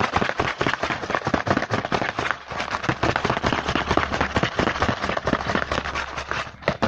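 Fingertips tap and scratch fast on the front of a small printed cardboard Hanuta snack box held in the hand. The result is a dense, uneven stream of dry, crackly taps and scraping rustles that spreads from low thumps to bright hiss, with each hit dying away almost at once.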